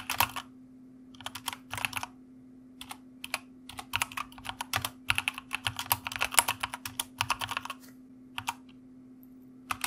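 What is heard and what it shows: Fingertips of both hands type on a white mechanical computer keyboard with plastic keycaps, producing bursts of sharp, bright clicks separated by short pauses. A steady low hum sits beneath the typing throughout.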